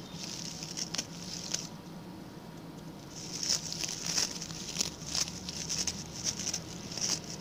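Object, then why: Coconut fiber (coir) brush. A small round, ring-shaped coir brush made of coconut fiber, with a pink plastic handle, is worked with the fingertips and short nails of both hands, which scratch and flick its stiff brown bristles. The result is a dry, high-pitched patter of bright crackling scratches, punctuated by sharper flicks that stand out irregularly, with little low end beneath.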